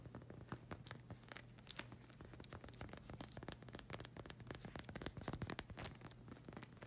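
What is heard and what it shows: Long red acrylic nails scratch and tap the solid, textured black rubber sole of a slide sandal with a flag-print strap. The result is a quiet, rapid stream of dry, crackly scratches and short taps with bright clicks, over a steady low hum.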